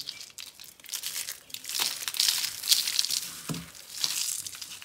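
A pile of yellow and orange dry soap curls and flakes is crushed and crumbled between both hands and fingers on a dark board, with untouched soap roses lying beside it. The result is a dense, irregular stream of dry, bright crinkling and crunching, almost entirely high-pitched with very little low end, swelling and fading in uneven waves.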